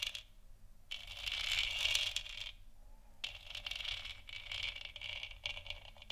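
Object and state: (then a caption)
Plastic moon lamp. Long nails tap and scratch the surface of a large, hollow, 3D-printed plastic moon lamp sphere lit white. Bright, dry scratching swells from about 1 to 2.5 seconds, and after a short pause, quicker, uneven taps and scrapes continue to the end, with a hiss-like tone centered near 2.8 kHz.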